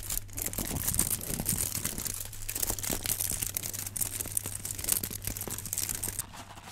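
Gloved fingertips crinkle and scratch the aluminum foil wrapping a rectangular block held in both hands. A dense, continuous stream of bright, crackling foil rustles and scratchy crunches plays over a steady low hum. It fades to a quieter rustle in the last half second.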